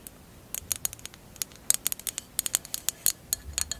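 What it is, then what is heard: Glass candle holder tapped and scratched with nails. A hollow, empty mosaic glass candle holder lies on fur while long acrylic nails tap and scratch its clear glass bottom and mosaic edge. About 20 quick, bright, clicky taps come in uneven bursts, each dying away almost instantly, with a faint scratchy patter between them and almost no low end.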